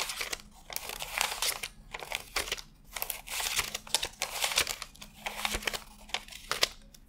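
Fingertips peel and flick thin cotton-paper $100 bills one at a time from a fanned stack while counting them. The result is a rapid, uneven run of crisp, bright papery snaps and crinkles that stop dead with no ring, separated by short quiet gaps.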